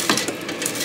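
Potato pieces are tossed and shaken in an air fryer basket after 15 minutes of cooking, giving a brief, bright rattling clatter with little low end. The potatoes are getting golden and crisp.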